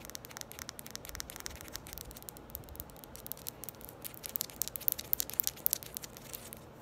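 Long fingernails quickly tap and scratch a small red ball that looks like hard plastic, held close to the microphone. Rapid, crisp, bright clicks and scratchy rustles sit over a soft, steady hiss, and the taps grow sharper and louder in the second half.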